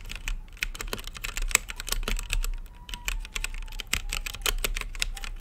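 Fingertips type on an RGB-lit mechanical keyboard with plastic keycaps and a clear acrylic case, producing a rapid, steady stream of sharp, dry key clicks centered around 2.5 kHz with bright upper edges and almost no ring. A low background hum sits beneath the key presses throughout.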